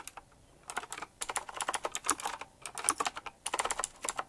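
Fingertip typing on a retro typewriter-style mechanical keyboard with round plastic keycaps set in chrome rings. It gives quick, bright, clicky keystrokes in fast bursts with short pauses between them, each click dying away almost at once.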